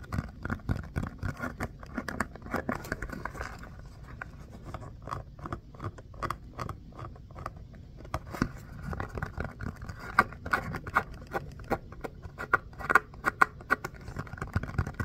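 Fingernails scratch and tap the textured surface of a small orange pebbled foam mini basketball with black seams. Close-up, dry scratching alternates with many quick, soft taps that die away almost instantly, with a bright, papery edge to the scrapes.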